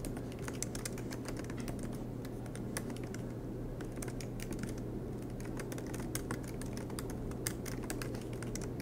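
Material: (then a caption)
Plastic. Both hands type continuously with their fingertips on the black plastic low-profile keys of a MacBook Pro laptop with a silver aluminum body, which rests on a green desk mat. The result is a steady stream of rapid, short, bright key taps over a low, constant hum.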